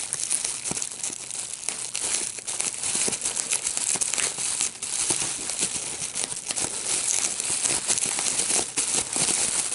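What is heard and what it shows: A clear plastic bubble wrap sheet with small air-filled bubbles is held in both hands while fingertips squeeze and pop the bubbles. Dense, bright crinkling runs throughout, sharpened by quick, crackling pops with almost no low end.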